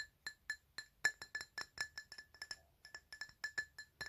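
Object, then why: Glass object. A glass item is tapped 22 times in a quick, uneven rhythm. Each tap gives a short, bright clink with a clear ringing tone near 1.7 kHz and high overtones that fade almost at once.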